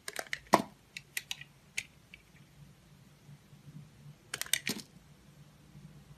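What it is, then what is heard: Bar of soap being shaved. A utility-knife blade scrapes and shaves a solid, hand-sized oval blue bar of Absolut soap held in one hand, cutting curls and chunks off its surface. About fourteen crisp, bright, short scraping clicks come in a quick cluster early on and a second burst near the end, with no ring after each. A faint low hum sits underneath throughout.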